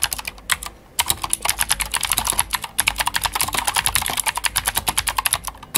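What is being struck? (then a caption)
Plastic mechanical keyboard. Fingertips of both hands type fast on a Glorious GMMK White Ice full-size white mechanical keyboard with plastic keycaps and clicky Gateron Blue switches. A rapid stream of sharp, bright clicks with very short ring pauses briefly just before the 1-second mark and again near 2.7 seconds, then continues at a steady fast pace.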